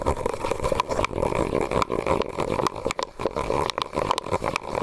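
A medium white disposable plastic cup, hollow and empty, is held over the microphone and tapped and scratched with fingernails. A dense run of quick clicks and rasping scrapes comes with a hollow, boxy resonance centered near 1 kHz. Bright sharp taps stand out now and then above the steady scratching.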